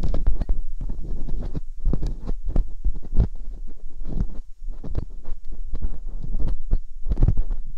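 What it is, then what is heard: Silicone ear of binaural microphone being scraped. Metal dental picks scrape inside the ear canals of silicone ear molds on a binaural microphone. Close, muffled scratching and rubbing come through as deep thumping and rumbling, with short bright clicks and a steady low hum underneath.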